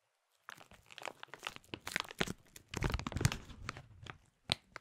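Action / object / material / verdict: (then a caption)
scrape / thin plastic food package / plastic / none. A clear printed plastic bag holding a small food item is crushed and crinkled between fingers, close up. Dense crackling crinkles come in uneven bursts after a brief silence, with bright crisp edges over a soft low rustle. A final sharp crinkle stands apart near the end.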